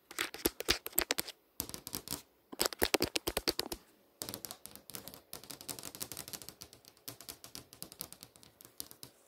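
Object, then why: Glass touchscreen display. Long nails tap and scratch across a flat glass touchscreen display showing a text description and a browser bar. The result is rapid bursts of dry, bright clicks and short scrapes with almost no ring, broken by a few brief pauses.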